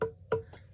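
Taps on the trimmed foot and base of a dry clay bowl, trimmed on a pottery wheel, give two clear, short, woody knocks with a ringing tone near 450 Hz and a softer third tap. The clear, pleasant tone indicates the trimming is going well.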